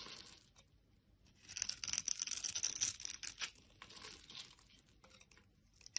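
A solid teal bar of soap held in the hand is scored and scraped with a metal blade into small cubes and crumbs. It makes dry, bright scratching and crackling with almost no low end, in quick irregular strokes. The scraping swells loudest through the middle of the clip, then fades to lighter scratches.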